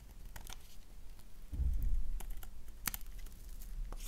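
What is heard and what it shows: A thin, flat slice of black soap held in the hand is scraped with a gold knife blade. Brief dry scratches and crisp clicks sound over a low rumble, with a denser, louder scraping passage in the middle and a sharp bright tick near the end.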